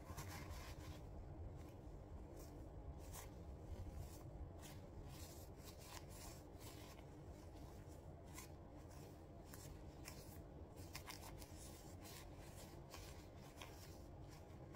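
A pair of vintage burgundy leather gloves is worn on both hands, with the gloved fingers flexed, clenched into fists and rubbed together close up. Soft, continuous leather creaking and rubbing sits over a steady low rumble. Brief bright scrapes and squeaks cut through at irregular moments.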